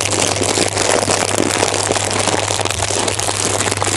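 A full orange plastic bag of snacks is held close and squeezed and crinkled with the fingers. The result is a steady, dense crackle of sharp rustles and snaps, bright and hissy across the top, over a low constant hum.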